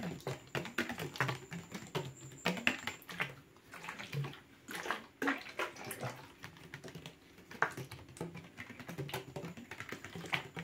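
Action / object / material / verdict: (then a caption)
tap / plastic water bottle with cap / plastic / none. A medium-sized, hollow, translucent blue plastic water bottle with a cap, apparently empty, is held up and tapped rapidly with fingertips and short nails. The result is a fast, irregular stream of dry, clicky taps with a hollow plastic resonance around 250 Hz that dies away almost instantly after each tap.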